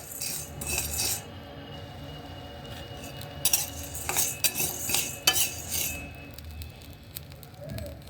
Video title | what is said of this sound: नवरात्रि# के #थोड़े-बहुत #तैयारी पहले ही कर ली । | इनके आवाज से पता चल ही जाएगा कि यह भून चुके हैं